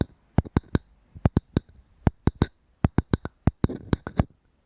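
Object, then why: Wooden object. Fingers tap and scratch a wooden object close to a microphone, producing about eighteen short, dry knocks with a low, thumpy body and almost no ring. A soft scratchy rustle fills the gaps between taps near the end.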